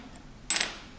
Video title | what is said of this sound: GraphTech Black TUSQ XL | You can hear that higher pitched sound to it. It almost sounds like glass.